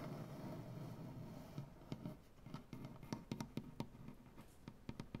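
Fingernails tap and scratch across a solid, light wooden butcher block tabletop, using both hands. A soft, dense scratching fills the first second and a half, then gives way to a run of sharp, dry taps with short, woody knocks and scrapes between them. The sound stays quiet and weighted toward the low end, with little ring after each tap.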